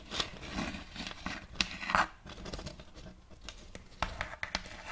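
Long nails scratch along the surface and rim of a round, thin plate of checkered light wood held close to the microphone. The result is a dry, rasping scrape with bright, crisp edges, broken by sharp little clicks and brief louder strokes throughout.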